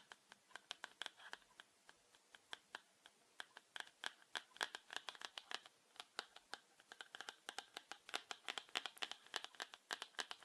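A small, hollow yellow plastic highlighter is held in the hands and tapped and scratched with fingertips and short nails. Dozens of quick, dry, bright clicks and scrapes come in uneven bursts, with a slight rattle from inside the body. Each tap dies away almost instantly, and there is no low end.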